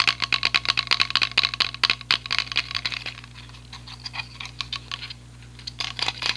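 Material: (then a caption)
Plastic. A small white and light-blue plastic clip-on selfie ring light with a hollow ring shape is held in both hands and tapped rapidly with fingertips and nails. The result is a run of sharp, bright plastic clicks and taps with very short decay, thinning out midway before a few final bursts.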